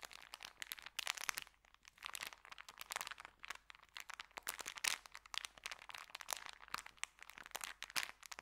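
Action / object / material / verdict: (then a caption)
scrape / paper sandwich bag / paper / none. A small folded white paper sandwich bag packet is flexed and crinkled between fingers. The result is a dense run of crisp, bright crackles and snaps with almost no low end, each crack dying away instantly, in uneven bursts across the clip.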